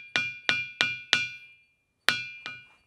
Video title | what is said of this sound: Ringing Rocks: సంగీతం వినిపించే వింత రాళ్లు - The Secret of Stones That Sing | ఇవన్నీ కూడా సంగీత శిలలే, కాకపోతే కొన్ని ఎక్కువ కొన్ని తక్కువ సంగీతం వినిపిస్తాయి